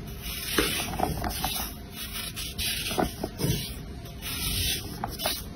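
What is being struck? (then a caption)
Soap bar. A round, solid, pale blue bar of soap with a green glitter layer inside is held in one hand and scraped and shaved with an orange-handled blade, leaving blue flakes. A steady, bright, hissing scrape runs throughout, broken by short, crisp catches as the blade bites into the bar.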